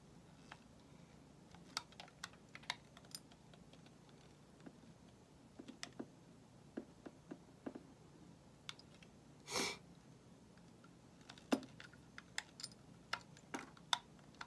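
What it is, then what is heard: Soap bar being shaved. A solid white bar of soap held in hand is shaved with a metal utility knife blade, peeling off a long curl. Quiet, sharp, bright clicks and scrapes come at irregular intervals over a low hiss, with a longer, broader swish near the middle.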